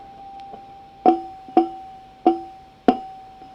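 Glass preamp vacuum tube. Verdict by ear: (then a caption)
Microphonic. Four taps on a faulty glass preamp vacuum tube come through the amplifier as sharp knocks, each followed by a decaying ringing tone over a steady high-pitched hum. The microphonic valve rings instead of staying quiet, so it is being discarded.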